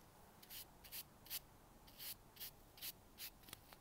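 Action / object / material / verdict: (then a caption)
scrape / expanded-polystyrene packing peanut brushed with a bristle brush / polystyrene foam / none. A single small white cylindrical expanded-polystyrene packing peanut, held in the fingertips, is brushed with a dark bristle brush while a tub of other peanuts sits untouched beside it. Nine short, bright, hissy scratching strokes come in a loose, uneven rhythm. They are quiet and concentrated in the high range, with little low end.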